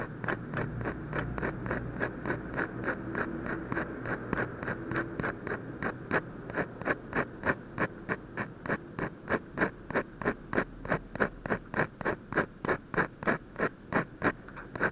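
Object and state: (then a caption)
Paper being shaded with a ballpoint pen. A hand draws with a ballpoint pen on a thin white paper sheet bearing a portrait sketch on a desk, scratching short shading strokes near the eye. About fifty quick, dry scratches repeat at a steady rhythm of roughly three per second, each a brief bright rasp over a faint low background hum.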